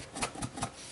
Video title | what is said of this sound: Fresh Apple Cake with Raisons...or not | you can hear it coming loose